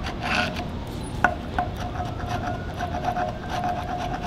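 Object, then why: Wooden log with bark, scraped with a steel chisel. Gloved hands scrape and peel the bark from a large solid log with a steel chisel, the blade rubbing against the wood surface. A steady rasping scrape runs throughout with a faint mid-pitched tone, broken by two sharper scraping accents early on.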